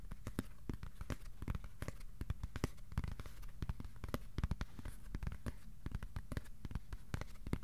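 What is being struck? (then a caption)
Cardboard piece. Fingertips tap on a piece of cardboard, slowly and then fast, in a steady run of dozens of short, dull, low thuds. Each tap is a soft, muffled knock that dies away almost instantly, with a faint papery crackle.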